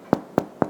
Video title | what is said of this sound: Cooking With Aron: Bread Making | just tap the bottom, and it should sound hollow